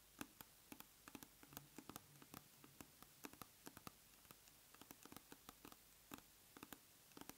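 A large round plastic tub of aloe soothing gel is held on its side while long nails tap and scratch its side wall. Quick, dry clicks with a hollow plastic tone come in uneven bursts over a soft, quiet hiss, each one dying away almost at once.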